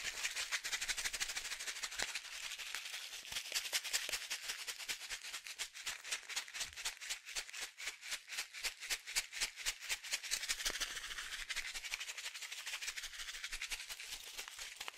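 A small blue and white plastic sachet, partly filled with small fish food pellets, is held by the fingertips and shaken. It makes a rapid, dense, bright rattle of pellets against the crinkling plastic, about four shakes per second and continuous for the whole clip. There is almost no low end.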